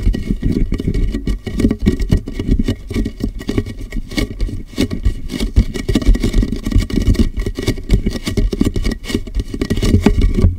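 Fingertips tap rapidly on the ridged side of a large, empty, clear plastic water jug resting hollow and upside down on a microphone. The result is a dense, continuous patter of dull, boomy thumps, heavy in the lows around a hollow tone of about 215 Hz, with each tap dying away almost instantly.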